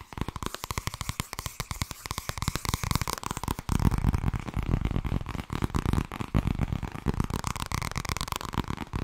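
Long red nails rapidly tap and scratch the cover of a medium-sized, thin purple softcover paperback made of solid paper, held close to the mic, while fingers riffle the page edges. A fast stream of short, dry, low-heavy taps and soft crackles is heard, growing louder and denser with scratchy rustling from about the fourth second on.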